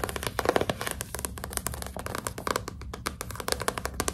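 A closed, solid Nancy Drew hardcover book with a glossy cardboard cover is held upright in both hands while long pink nails tap and scratch its front cover. The result is a quick, dense run of crisp, dry taps mixed with bright, scratchy rasps, each tap dying away almost instantly.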